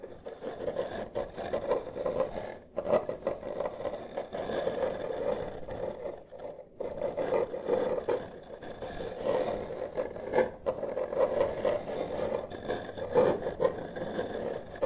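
Two wooden massage sticks, one in each hand, slowly trace and scrape across a large solid wood-grain tabletop. The result is a continuous dry rasping scrape, centered around a mid tone near 540 Hz, with a few short pauses between strokes.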